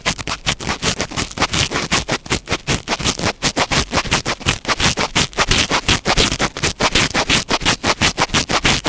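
Fingertips and short nails scratch and rub a small black foam windscreen on a microphone in quick strokes. A rapid, uneven series of bright, rustling scratches runs steadily at nearly three strokes per second, with close, muffled thumps underneath.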